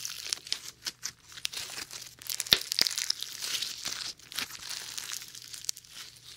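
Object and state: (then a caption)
Foam bead slime being kneaded. A lump of foam bead slime is squashed and kneaded between both hands, close to but not touching the microphone. The beads give dense, bright crackles and crinkling pops in irregular bursts over a faint low hum.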